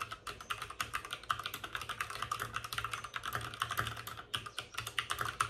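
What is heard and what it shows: Both hands type with short-nailed fingertips on a white full-size plastic mechanical keyboard with plastic keycaps and RGB backlighting, resting on a desk with a padded wrist rest. A fast, steady stream of crisp, bright plastic clicks and taps is heard, each one short and dry, centered around a clacky midrange with little low end.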